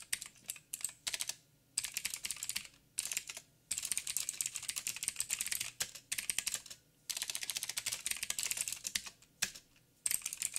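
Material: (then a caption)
Plastic. Fast two-handed fingertip typing on a backlit mechanical keyboard with plastic keycaps and blue clicky switches. Bursts of sharp, bright clicks come in quick runs, separated by short pauses.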